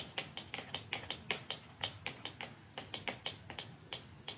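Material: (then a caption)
Cardboard. Long nails tap along a small, narrow, dark cardboard mascara box lying flat, beside a second identical box that stays untouched. About 20 crisp, bright, dry clicks come at an uneven, unhurried pace, each dying away almost instantly with little low-end body.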